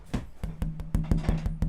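A handmade wooden guitar back is tapped to show its tap tone, giving a series of short, resonant knocks like a wood block. Each knock carries a low ring around 164 Hz that dies away quickly.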